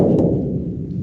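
A second metal water storage tank at a desert cattle watering site is struck once, giving a dull, dead knock with a low tone around 168 Hz that fades over about half a second. The tank is empty because it was disconnected and shot up.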